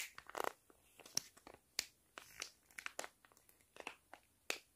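A flat sheet face mask packet made of foil-lined plastic is crinkled, squeezed and scratched with fingers and nails. Quiet, bright, crisp crackles and sharp scratchy snaps come in quick irregular bursts, with almost no low end and short gaps of near silence between them.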